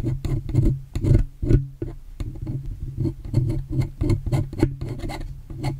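A metal spatula-like tool scrapes across the silver metal body of a USB microphone, next to its volume knob, lifting off flaky residue. The result is a rapid run of short, rasping scrapes with a strong low hum and brief bright edges on each stroke.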